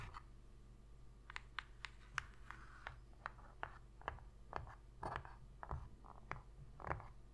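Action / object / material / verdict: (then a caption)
scrape / empty cardboard box lid / cardboard / none. Long pink nail tips scratch the inner bottom and rim of an empty, shallow white cardboard box lid. About eighteen short, dry scratching taps come at an uneven pace, each bright and quick with no ring. They sit quietly over a steady low hum.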